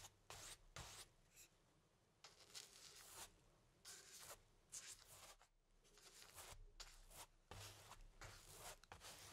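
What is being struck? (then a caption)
Stretched cotton canvas on a wooden frame, brushed with paint. A paintbrush sweeps black paint across a medium stretched cotton canvas on an easel, thin fabric over a hollow wooden frame. A series of soft, bright, scratchy brush strokes rise and fade over a quiet low hum, each rasp short with little ring.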